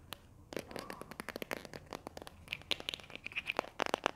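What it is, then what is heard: Plastic glue stick tube. Long nails scratch and tap the printed label and body of a small, hollow pink and white plastic glue stick tube with a cap. A quick, uneven run of dry, sharp clicks and scratchy crinkles comes through, bright and thin with almost no low end. Each tap stops at once with no ring.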